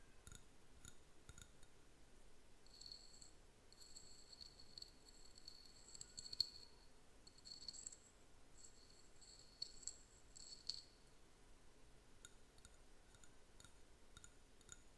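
A small, empty, hollow white ceramic paint cup, held in the hand, is tapped and scratched with fingernails inside and out. Quiet, bright clicks and light scratching repeat throughout, and some taps bring out brief high ringing tones from the bowl that die away almost at once.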